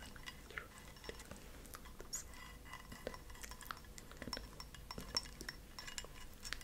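A small white ceramic cup, held upside down, hollow and empty, is tapped with long acrylic nails. The result is a quiet, rapid stream of high, bright clinks with very short ring, each tap dying away almost at once over a soft background hiss.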